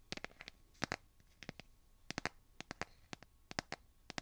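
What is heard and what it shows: Fingernails tap and scratch the back of a hand-sized smartphone in a solid light blue plastic or silicone case. About 22 quick, dry, bright clicks come in uneven clusters over a soft scratching hiss. Each tap dies away almost instantly, and the overall level stays quiet.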